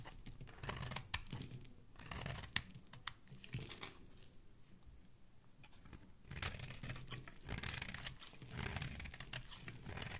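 A dark metal blade carves through a solid teal bar of soap held in the fingers, scraping off chunks and flakes. Dry, crisp scraping and crunching bursts come in quick runs, ease into a quieter stretch in the middle, then pick up again with bright, gritty shaving toward the end.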